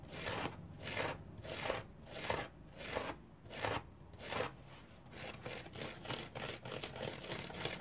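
A dry orange foam sponge is rubbed and scratched with fingernails. It makes repeated bright, dry, crackly rasping strokes in a loose, steady rhythm, with short pauses between them.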